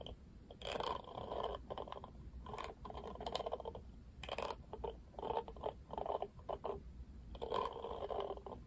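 Fingertips rub and scratch across the plastic bristles of a pink-rimmed Barbie plastic paddle hairbrush held in one hand. Repeated bursts of dry, scratchy rustling, strongest in the midrange, come with short pauses between them over a faint steady low hum.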